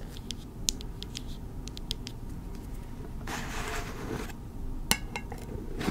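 Long red nails tap and scratch the metal lid and sides of a small, round, hand-held candle tin full of wax, with a paper label on it, and the lid is handled. Light, sharp metallic ticks come and go over a low, steady background, with a longer hissing scrape in the middle and a brighter click near the end.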